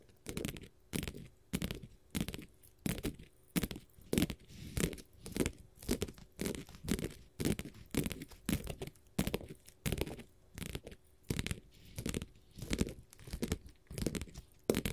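Long gold metal finger-jewelry nail caps scratch across a flat, solid blue glitter faux leather sheet in steady, repeated strokes. Each stroke makes a short, dry, rasping scrape that is weighted toward the low end, with a faint brighter grit on top. The strokes are separated by brief silences and leave no ringing tail.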